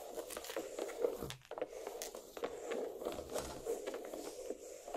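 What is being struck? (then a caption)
Watermelon half, rind. Long black nails scratch down the rind of a large, solid watermelon half resting on a plate. The result is a steady run of close, crackly scraping strokes with a midrange hum and sharp bright streaks, pausing briefly before continuing.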